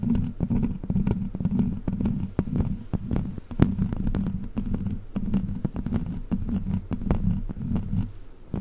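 Long black plastic witch-finger claws scratch and tap across the hollow metal mesh grille of a large silver microphone. A dense, low, rumbling scrape hums steadily underneath, punctuated by frequent sharp, bright tapping clicks that die away almost instantly.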